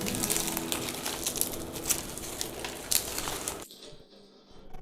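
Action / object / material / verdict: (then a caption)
scrape / baked flaky pastry crust / pastry / crispy. A flaky yeast-free pastry pie, baked about 30 minutes at 200 °C and then cooled, is broken or pressed. Its crust gives off a dense run of bright, dry crackles and crunches with a few sharper cracks. The crackling stops abruptly near the end, leaving only faint rustling, which confirms the crust is crispy.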